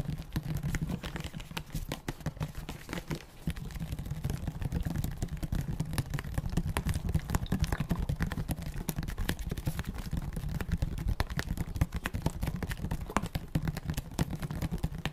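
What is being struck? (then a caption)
Small brown glass medicine bottle tapped with fingertips and nails. A small brown glass medicine bottle with a cream cap and paper label is held near the microphone and tapped with fingertips and nails. A quick, continuous patter of soft, short taps and clicks sounds for the whole clip, mostly low and dull with a faint hum-like tone around 160 Hz and little brightness.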